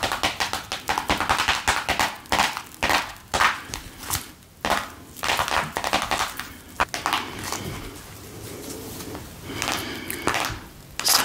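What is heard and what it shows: A small, hollow printed cardboard box for a vintage card deck, still holding its cards, is held in sequined fingerless-gloved hands and tapped with long acrylic nails. A rapid series of crisp, bright clicking taps comes through for about seven seconds, then gives way to softer scratching and rustling before a few sharp taps at the end.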